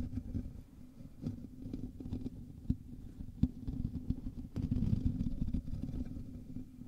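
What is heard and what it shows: A black USB condenser microphone with a hollow, domed metal mesh grille is scratched by both hands' fingertips and short nails, close to the capsule. The result is a dense, low, rumbling scratch with rapid patter and a few sharper clicks standing out.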